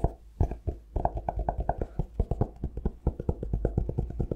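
A cork-covered notebook turned on its side has its spine, edge and cover tapped with fingertips and nails. A quick, uneven run of short, dry taps follows, each a soft low knock with a hollow midrange tone and almost no ring.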